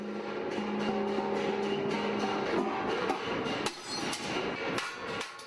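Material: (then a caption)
Bronze. Partway through forging, a bronze (bangjja) gong plate, which must be spread thin and even to make a good gong, is struck and listened to. It answers with a sustained, shimmering metallic ring with low humming tones beneath a bright wash, and a fresh strike renews it later. The sound suggests the plate is still slightly too thick, though acceptable for now.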